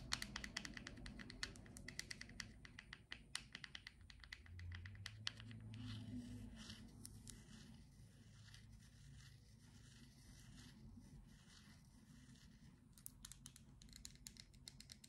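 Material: Plastic.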